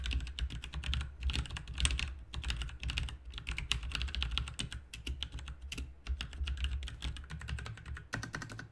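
Fast two-handed fingertip typing on a backlit plastic RGB mechanical keyboard with plastic keycaps resting on a desk mat. Dense streams of short, sharp key clicks and clacks carry bright, high tops over a deeper thock. The clicks come in rapid bursts with brief gaps, and each one dies away almost instantly.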